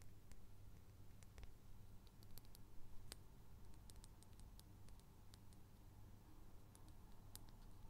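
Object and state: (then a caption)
Glass perfume bottle. A small clear glass perfume bottle with a metal cap is held in one hand and tapped with the fingertips and nails of the other. Quick, faint, bright clicks and ticks are scattered irregularly over a steady low hum, each dying away almost instantly.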